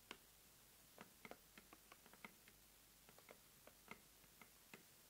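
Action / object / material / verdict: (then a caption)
tap / corrugated cardboard box / cardboard / none. Long nails tap and scratch along the sides and top edge of the lid of a closed, medium-size red corrugated cardboard subscription mailer box, hollow and filled. A quiet, irregular series of crisp, bright ticks sounds, each dying away almost instantly over a faint steady hiss.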